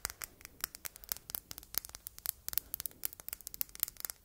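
Long red nails tap and scratch across the face and faceted sides of a palm-sized solid red glass heart paperweight as it is turned in the hands. The result is a rapid, irregular run of sharp, bright clicks with almost no ring, over light scratchy rustling and a faint low hum.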